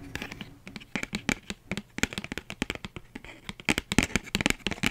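Long nails tap rapidly on a flat, empty pink paper envelope, like typing. About 27 quick, dry clicks with a bright papery crackle come in uneven bursts, each dying away almost at once.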